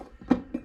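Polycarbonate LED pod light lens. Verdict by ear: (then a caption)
Thin. Two light taps on the thin polycarbonate lens of an Auxbeam LED pod light give short, dull plastic clicks with almost no ring. The thin lens sounds noticeably flimsier than the much thicker lens of a Lasfit pod light.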